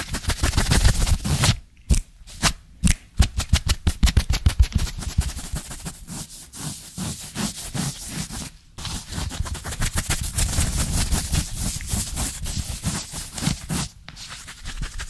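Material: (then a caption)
Knit fabric. Fingertips and nails of both hands scratch fast and hard at a soft, dark blue knit polo shirt worn on the chest, close to the microphone. The result is a dense, rapid run of rough, bassy scratching strokes with some brighter hiss, broken by brief pauses near 2, 3, 8.7 and 14 seconds.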